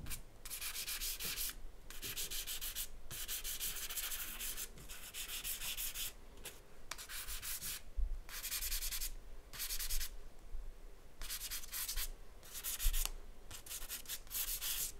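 A black charcoal stick held in the fingertips is rubbed and scratched in broad strokes across a large white paper sheet on a drawing board. Bright, gritty scraping bursts come one after another, separated by short pauses, over a faint low rumble.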